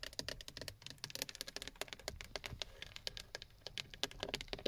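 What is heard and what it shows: Long fingernails rapidly tap on the textured black plastic of a steering wheel hub cover and its side button area, a hollow shell. About thirty quick, dry, bright clicks follow one another with almost no ring, with a light hollow tone underneath.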